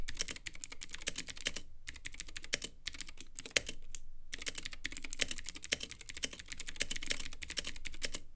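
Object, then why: Plastic mechanical keyboard in acrylic case. Continuous fingertip typing on a Womier K66 compact mechanical keyboard with Gateron Blue switches, white plastic keycaps and a clear acrylic RGB case. Rapid, bright clicky keystrokes with a low thock underneath patter along with only brief pauses, each click dying away almost instantly.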